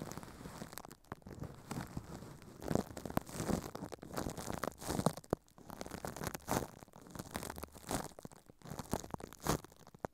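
Thin clear plastic film is wrapped over a microphone head while furry puppet hands crumple and crinkle it. The result is a dense, continuous run of crunchy, crackling rustles with louder crinkling bursts throughout, heavy in low rumble and dull rather than bright.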